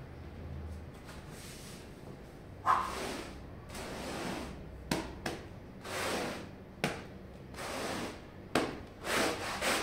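A long-handled push broom with plastic bristles scrubs a small red patterned wool pile rug full of foam on a tile floor. Broad, bright swishing strokes rise and fade over a low background hiss, punctuated by several sharp knocks.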